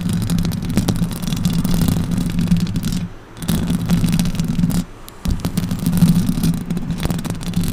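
Long orange acrylic nails on both hands scratch up and down a silver microphone's hollow metal mesh grille. The result is a dense, continuous low rasping rumble with a steady hum-like tone around 164 Hz and faint brighter crackles. The scratching briefly dips and quiets twice, near the three- and five-second marks.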